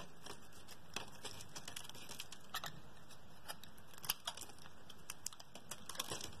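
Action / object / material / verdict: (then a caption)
scrape / bar of soap / soap / none. A metal utility blade scrapes and slices flakes and slabs off the face of a solid blue oval bar of soap held in the hand. Quiet, steady scraping is broken by many short, crisp, bright ticks and cuts as pieces are carved away.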